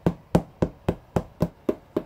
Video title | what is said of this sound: Разделочный стол с мойкой Maggio / Оборудование для сыроварни от Мастерской А.Чернядьева /Дегустация | глухой звук как барабан замечательный сыр